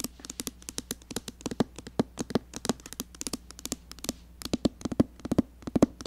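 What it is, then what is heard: Glass mirror tapped with fingernails. Long painted nails tap rapidly on a rectangular glass mirror set in the open lid of a red cardboard eyeshadow palette. Around 38 quick, dry clicks come in uneven bursts, each dying away almost instantly, with some taps landing harder than others. A faint steady low hum sits underneath.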